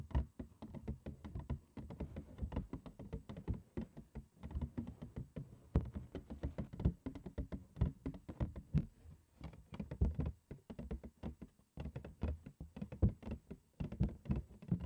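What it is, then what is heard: Empty cardboard cereal box. A large printed cardboard cereal box, held upside down and hollow, is tapped and knocked on its front face with long acrylic nail tips. Rapid, irregular bursts of short, dull, hollow taps and thumps with a low, boxy resonance die away almost instantly, separated by brief pauses.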